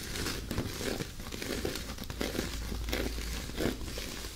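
Long natural nails scratch and tap the rough, dry plant-fiber surface of an oval loofah bath pad with fabric trim. The result is a steady, dry crinkling scrape with brief, slightly louder scratchy bursts spread throughout.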